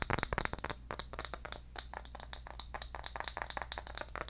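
A round, engraved, palm-sized bamboo jar lid is held close to the microphone and tapped with the fingertips. The result is a rapid, uneven series of short, dry clicks and taps that die away almost instantly, over a faint low hum.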